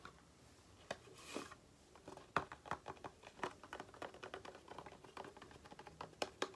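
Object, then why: Small cardboard box. A small, upright, white and green printed cardboard box for an aloe product, likely hollow, is held in one hand and tapped rapidly with long painted nails. The result is a quick, quiet run of dry, clicky taps that stop almost instantly, with a soft brushing swish early on.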